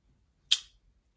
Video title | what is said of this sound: Spyderco Gayle Bradley 2: EDC Update | just listen for the noise of it opening